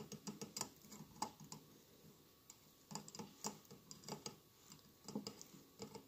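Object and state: Glass mosaic candle holder.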